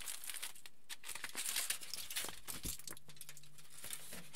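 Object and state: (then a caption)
Aluminium foil sheet. Fingertips pinch, fold and crinkle the surface of a large crumpled aluminium foil sheet lying flat. The result is a quiet, continuous stream of bright, papery crackles and crinkles, with a few slightly louder rustling bursts near the middle. A faint low hum sits underneath in the second half.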